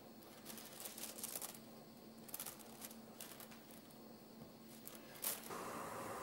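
Fingertips tap, rub and scratch over uncooked dry spaghetti strands spread flat on a white counter. Dry, crackly bright scratches and light clicks come in uneven bursts over a faint low hum, with one sharper snap near the end.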